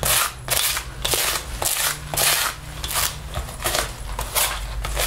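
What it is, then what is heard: Lint roller on faux leather jacket. A sticky paper lint roller is rolled and rubbed across the chest and down the sleeve of a black faux leather jacket being worn. Repeated crackling, tearing bursts come from the adhesive pulling off the synthetic leather, with a low steady hum underneath.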